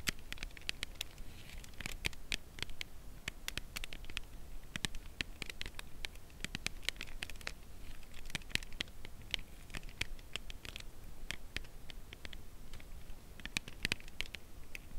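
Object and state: Cardboard chocolate box tapped with fingernails.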